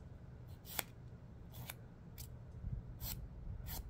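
Fingernails are filed against a long, dark emery board nail file held in one hand, making quick, bright, scratchy rasping strokes. The short bursts come in a loose rhythm over a quiet, steady low hum.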